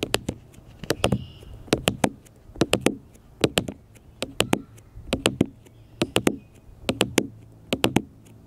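Fingertips and nails tap repeatedly on a small, solid black smartphone with a glass screen and plastic case, lying flat on a metal mesh picnic table. Crisp, dry clicks come in quick clusters of three or four, about 31 taps in all, each with a short low thump and a bright tick that stops almost instantly.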